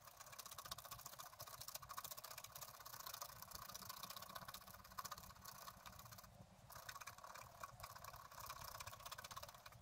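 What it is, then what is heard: Scratch-art paper sheet. A wooden stylus scratches a coated scratch-art card resting on a table, working near its right edge. The scratching is steady, dry and rasping, with bright, high hiss over a faint low rumble. It eases briefly past the six-second mark before resuming at the same pace.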